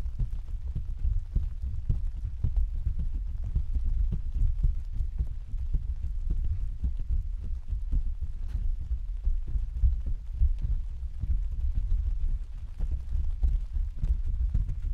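Several hands tap and pat with their fingertips on the thin, hollow canopy of an open translucent white plastic/vinyl umbrella on a stand. The result is a continuous stream of soft, dull, low thumps with almost no bright content, each hit dying away almost at once, building into a steady muffled drumming like rain on the canopy.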